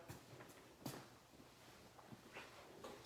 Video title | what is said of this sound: Portsmouth Island Canted | i'm knocking on it because for a reason because it's solid